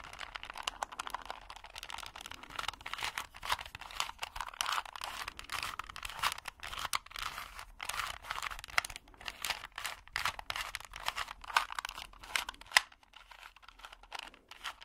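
Fingertips twist the layers of a small, solid plastic 2x2 Rubik's cube with colored stickers, held in both hands. A rapid, steady stream of dry clicks and crunches runs the whole clip, bright and crisp with almost no low end and no ring after each snap, and it thins out briefly near the end.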